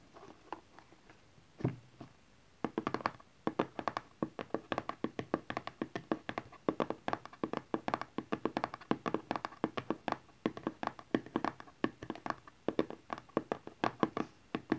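Fingernails and fingertips of both hands tap rapidly on the back of a closed, hollow teal cardboard smartphone box lying flat on cloth. After a few sparse taps, a steady stream of short, dry, hollow clicks and thuds follows, each dying away almost instantly with a mid-pitched papery knock.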